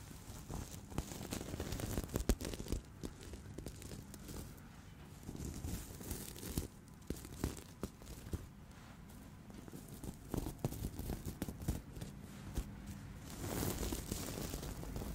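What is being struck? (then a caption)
Fabric cushion covered in plastic sequins. Fingertips brush and flip the pink and gold plastic reversible sequins covering a medium soft cushion held against the chest. The result is a quiet, continuous rustling and crinkling with a dull low rumble underneath. Sharp little scratchy flicks pop out here and there as the sequins turn over.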